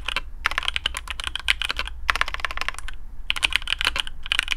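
A black custom mechanical keyboard with PBT plastic keycaps on a carbon fibre plate in a hollow case is typed on with the fingertips of both hands. Bursts of fast, crisp, bright clacks come with short pauses between them, over a steady low hum.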